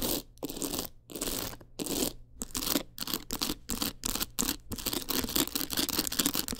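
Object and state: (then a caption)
Rhinestone-covered clutch wallet. Long acrylic nails scratch and tap quickly over a teal rhinestone clutch wallet with a gold frame. Bright, gritty scraping bursts come in quick runs separated by brief silences, with short clicky taps mixed in.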